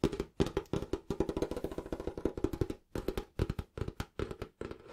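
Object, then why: Cloth-covered hardback book. Fingertips and nails tap quickly and scratch across the cover of a small, solid, closed green cloth-bound hardback book held over a purple cloth. The result is a rapid, uneven run of dull, woody knocks with a tone near 390 Hz, very little bright content and almost no ring. Brief pauses break the run near 2.8 and 3.3 seconds.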